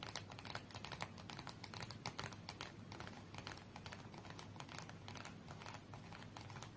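A small red cardboard UNO card box is held in both hands while long nails tap rapidly on its edges and faces. The result is a dense, steady run of quick, dry, papery clicks with no ring and a low background hum beneath.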